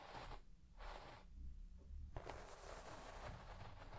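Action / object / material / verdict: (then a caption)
scrape / shaggy textile carpet scraped with a plastic comb / textile fibre / none. A white plastic comb is swept quickly across the pile of a large red shaggy textile carpet, scratching the fibres. Broadband scratchy swishes come in bursts over a low rumble, with a sharper crackle near the middle.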